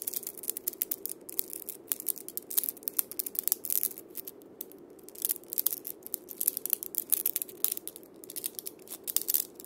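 Fingers scratch and roll the steel bead chains of a single wooden-bodied cabasa against its wooden cylinder. The result is a quiet, dense stream of bright, crisp metallic clicks and rattles over a soft, low-mid scraping hiss. The clicks come in uneven bursts with brief lulls between them.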